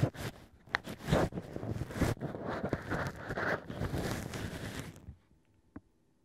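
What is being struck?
Wine cork with drilled hole, scraped by a thin pick.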